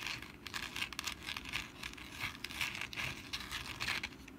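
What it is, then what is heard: Papier-mache pumpkin decoration. Long nails on both hands scratch the rough surface of a medium, textured papier-mâché pumpkin decoration lying on its side on a mat, likely hollow. The result is a steady run of dry, crinkly, papery scratches, bright and hissy with little low end, rising and falling in short bursts.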